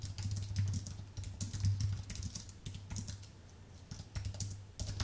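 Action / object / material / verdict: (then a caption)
tap / aluminium and plastic computer keyboard / aluminium, plastic / none. Both hands type densely with their fingertips on a thin, white Apple full-size keyboard with a solid aluminium base and plastic keys. The result is a quick, uneven patter of soft, bright key clicks over a steady low hum.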